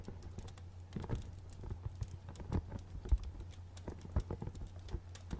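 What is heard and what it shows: A small, dark printed cardboard box with a barcode label, hollow and held in both hands, is tapped with fingernails. A quick, irregular run of short, dry clicks and light knocks sounds over a steady low hum, each tap dying away almost at once.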